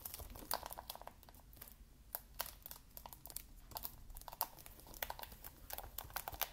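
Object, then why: Plastic game case in cellophane wrap. A shrink-wrapped plastic Xbox game case, wrapped in cellophane, is held upright in both hands while fingertips tap and scratch its edges and cover. The result is a quiet run of quick, dry ticks and crinkles with bright, papery film rustle and almost no ring, set over a low, steady background rumble.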